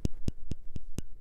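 A colored porcelain portrait plaque on a 2015 headstone is tapped six times. Each tap is a short, hard click with a brief low thud, separated by quiet gaps. The porcelain sounds hard and intact.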